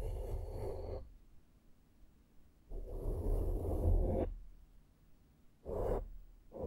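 A small flat synthetic makeup brush held in the fingertips strokes a soft, porous black foam windscreen on a handheld microphone. Three separate brushing passes, with the start of a fourth at the end, produce soft, breathy whooshes dominated by low rumble. Quiet pauses fall between the passes.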